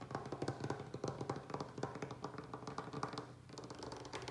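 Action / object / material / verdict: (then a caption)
tap / wooden tabletop / wood / none. Fingertips and short nails of both hands tap quickly on a large, solid butcher-block style wooden table surface. The result is a rapid stream of dry, short knocks with a warm low-mid body and almost no ring. The tapping briefly softens near the end before picking back up.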